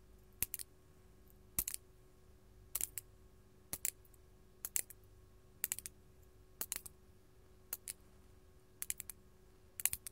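Long gold metal claw nails tap a large, solid, faceted purple artificial glass crystal gem held in the hand. The result is short clusters of quick, bright, sharp clicks that stop dead with no ringing, spaced about a second apart over a faint steady hum.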